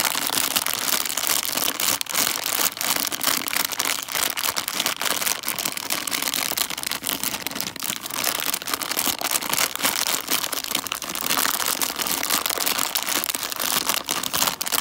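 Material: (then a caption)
Plastic, foil. A full plastic candy bag of foil-wrapped chocolate coins is crinkled and squeezed between both hands with fingertips and nails. The result is a steady, dense stream of bright, crisp crackling and rustling with almost no low end, running at an even level throughout.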